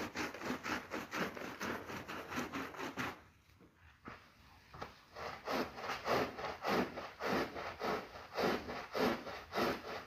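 A long-handled push broom with stiff bristles scrubs back and forth across a soaked, soapy, ladybug-shaped red and black synthetic pile rug lying flat on a tiled floor. Steady, rhythmic rasping strokes run at under two per second, with a midrange body and a bright, wet hiss. They pause briefly after about three seconds, then resume at the same pace.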